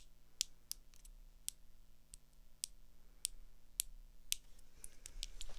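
Long acrylic nails tap quickly on the frame and lens of small, hollow blue plastic swim goggles with a rubber strap, held up. Each tap is a sharp, bright, dry click that stops almost at once, heard over a faint low hum, and the taps bunch closer together toward the end.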